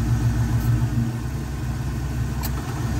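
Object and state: Nothing is struck.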